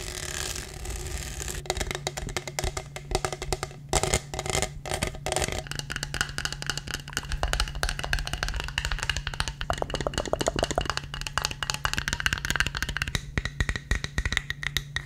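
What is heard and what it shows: Fingertips and nails tap and scratch the bumpy surface of a tall black studded plastic tumbler, hollow and apparently empty, with a lid and straw. The result is a fast, dense stream of short, dry clicks and raspy scratches over a steady low hum.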